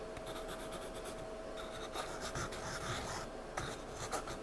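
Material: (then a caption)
Paper. A pencil scribbles and shades on a spiral-bound paper sketchpad lying flat, giving a steady, scratchy rubbing of lead on paper. The quiet, continuous scratching has a few slightly louder strokes toward the end and a faint steady tone underneath.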